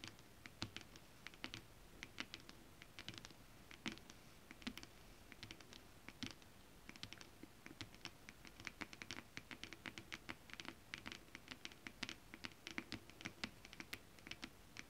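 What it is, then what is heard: Holographic mermaid scale fabric. Both hands scratch and tap a flat, iridescent holographic mermaid scale-print foil stretch fabric with long acrylic nails. The result is a steady, quiet patter of crisp, bright clicks and scratchy rasps that stop almost instantly, over a soft low hiss.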